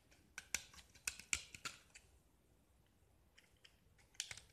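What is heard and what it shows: A metal utility knife blade scrapes and carves the surface of a small, solid gypsum block with a green-painted diamond-pattern face, held in the hand, as flakes fall away. About eleven sharp, bright, crisp scraping ticks come in an irregular cluster over the first two seconds, then a quiet stretch with faint scratches, then a final pair of cuts near the end. Each tick is very short with almost no ring.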